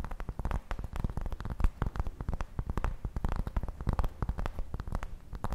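Long nails scratch and tap the surface of a large, round, flat, solid cork coaster held in both hands. The result is a dense run of soft, muffled taps and scratches, heavy in low thuds with a faint bright tick on each stroke, fading quickly with no ring.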